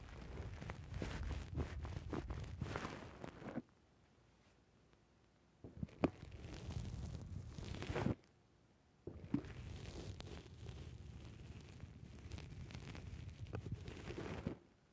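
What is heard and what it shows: A thumb and fingertips squeeze and press a black soft foam windscreen on a microphone. It makes dense, muffled crackling and rustling that is heavy in the lows, in three separate bursts divided by short quiet gaps.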